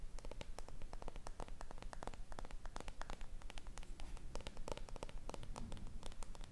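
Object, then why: Small lacquered wooden box. A small, hollow lacquered wooden box with a gold ornamental border and a flat wooden lid, held in one hand, has its lid tapped and scratched with long red nails. A rapid, fairly steady stream of dry, crisp clicks rides over a scratchy, static-like rustle and a low hollow undertone. Each tap dies almost instantly, with no ring.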